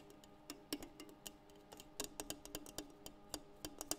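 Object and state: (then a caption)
French press tapped. A French press is tapped in a quick, uneven series of light, sharp ticks. Each brief, bright click decays fast over a steady low-mid ring.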